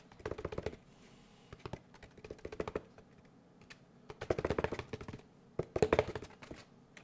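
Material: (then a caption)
Paper pulp. Fingertips tap quickly on a large molded gray paper pulp packaging tray held upright in front of the microphone. Quiet, dry, hollow taps with a midrange body come in several rapid bursts separated by short pauses, each tap dying away almost instantly.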